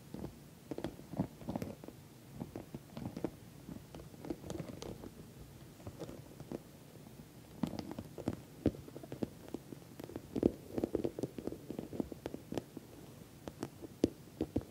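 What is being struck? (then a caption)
Patent vinyl cosmetic pouch. Long nails tap quickly on the top edge and sides of an orange glossy patent vinyl cosmetic pouch. The result is a quiet, irregular patter of short, dry taps with a dull low-mid body and faint bright click edges. The taps stop dead with no ring, and they cluster in busier bursts toward the end.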